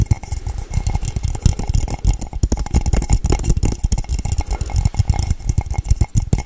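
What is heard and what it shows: Long nails tap fast and hard on the base and body of a hollow, empty, matte blue cylindrical tumbler, likely metal. The result is a dense, continuous stream of quick, dull, bassy knocks with almost no ring, plus a faint clicky brightness from the nails.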